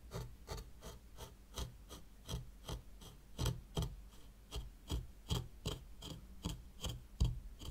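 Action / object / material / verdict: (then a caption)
scrape / fine sand in a small tray raked with a plastic rake / sand / none. A white plastic rake held by long-nailed fingers is dragged through fine sand in a small hexagonal zen garden tray. About 19 short, soft raspy scrapes repeat in an uneven rhythm, each a brief gritty swish with a low rumble underneath and a faint bright hiss on top.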